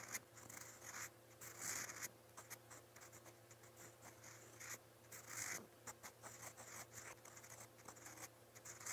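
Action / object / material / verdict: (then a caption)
scrape / metal pen nib on a lined paper notebook page / paper / none. A metal fountain pen nib writes in quick strokes across a lined white page of a paper notebook. The clip is a quiet, bright, dry scratching made of many short strokes, with faint low steady hum underneath.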